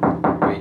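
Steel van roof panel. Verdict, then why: Resonant. Three knocks on a bare steel roof panel of a Peugeot Boxer van with no sound deadening ring out loud and resonant, each with a hollow metallic boom that hangs before the next. The untreated panel sounds really loud compared with a deadened one.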